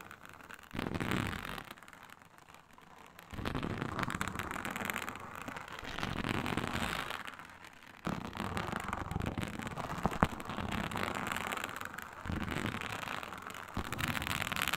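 A flat, iridescent blue-purple faux snakeskin synthetic leather mat, embossed with a reptile pattern and lying on a table, is scratched and tapped with long pointed fingernails of both hands. Bursts of dry, crackly scratching come in uneven surges with quieter gaps between them. A sharp tap stands out near the ten-second mark.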